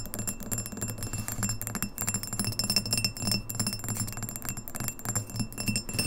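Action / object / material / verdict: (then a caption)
tap / glass pint glass / glass / none. Long fingernails tap rapidly on the sides of a tall, empty, clear pint glass with an etched logo, first held and then standing upright on a wooden table. The fast, uneven stream of short, bright clicks carries thin, high glassy ringing over a soft low thump.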